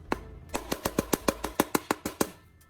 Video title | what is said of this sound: Mix Graphite and Baking Soda! Most People Would Never Know What Happened 😱 - Inventor Bill | پیچ دار جگہ ٹھوس رہتی ہے، ٹوٹتی نہیں ہے، اور اصل پلاسٹک کی طرح مضبوط محسوس ہوتی ہے۔